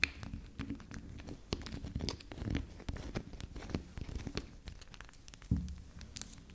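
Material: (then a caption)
Soap. Long acrylic nails tap and scratch the top and sides of a soft, solid, unwrapped round pink-and-purple swirl soap bar resting on a stone table. Quick, dull, muffled taps mix with dry, crackly scratching that has bright edges, and each sound stops short with no ring. A louder knock lands near the end before the soft scratching continues.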